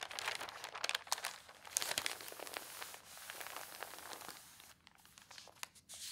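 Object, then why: Newsprint newspaper pages. A hand with long painted nails turns and smooths the thin newsprint pages of an open tabloid newspaper lying flat on a table. Dense, bright rustling and crinkling rises and falls in quick bursts, with sharp crackly snaps as pages move. It eases into softer, quieter rustles toward the end.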